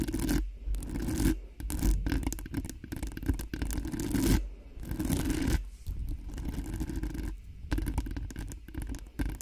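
Long nails on both hands scratch quickly across the hollow metal mesh grille of a cream-colored Blue Yeti-style microphone. The result is a dense, rapid rasping with a heavy low-end rumble, broken into bursts by brief pauses.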